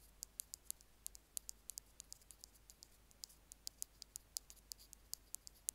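Two bamboo ear picks rapidly tap and scratch the end of a small white plastic Apple earphone mic remote resting on a stone slab. About 32 sharp, very short, bright clicks and ticks come at an uneven pace, with almost no low end. Between them is only a faint, steady background hiss.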